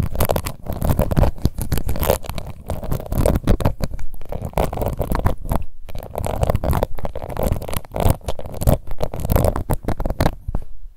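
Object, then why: Plastic face powder compact. Long nails scratch across the embossed lid of a small, round, pink plastic face powder compact. The result is a dense, rapid run of short, low-heavy scratching strokes, broken by a few brief pauses.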